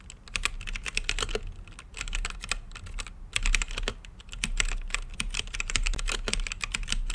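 A mechanical keyboard with plastic keycaps and a clear acrylic case is typed on with fingertips, producing a rapid, irregular stream of short, sharp key clicks. The clacks are bright, centered around 2.5 kHz, and stop almost instantly, with a steady low hum underneath and brief pauses between bursts of typing.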